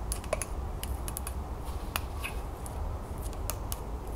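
Long nails tap quickly on the glazed sides of a hollow green celadon ceramic mug with a relief band and a lid/infuser on top, held in the hands. Sharp, bright clicks stand out over a steady low rumble, with one brief ringing tone near the start.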